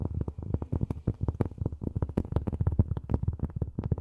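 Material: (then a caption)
Cork. Long fingernails tap rapidly on cork, making a quick, steady run of short, dull, low thuds. Each tap dies away almost at once, with no ring and almost no bright edge.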